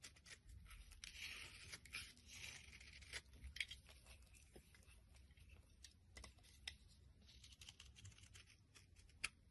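A metal blade shaves flakes off the top of a solid white bar of soap held in the hand. Quiet, bright, dry scraping and crisp crackling run throughout, punctuated by sharp little clicks as the blade catches and flakes break away. A low, steady hum sits underneath.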